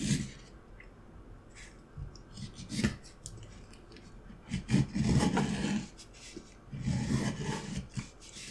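A steel carving knife cuts and scrapes the surface of a solid, light wooden block held upright in one hand. Quiet, irregular scraping strokes sit mostly in the low range with brief bright edges. A longer, louder run of cutting comes around the middle, followed by another burst near the end.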